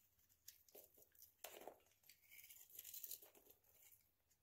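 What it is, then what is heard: Dry bar soap coated in nail polish. A hand-held, hand-sized solid oval bar of dry soap coated in nail polish, with an orange-yellow polish rim, is shaved with a utility knife blade. The result is a quiet series of crisp, dry scraping and crunching strokes, bright and papery like tearing, with short peeling runs between the sharper cuts.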